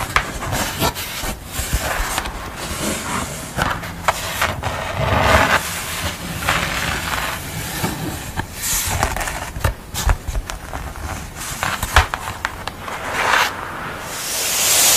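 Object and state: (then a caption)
Painted paper board scratched. Long nails scratch and rub across the textured surface of a stippled painting on thin paper board lying flat. Steady crisp, dry scraping is broken by sharp clicks and brief bright bursts, and the clip ends in a rising airy hiss.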